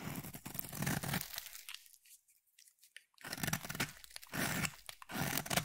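A solid, palm-sized, cream-colored oval bar of soap is carved with a utility blade, and crumbly flakes break off. Dense, crisp crunching and scraping fill the clip, with low body and bright crackle. A near-silent pause in the middle separates the two bursts of cutting.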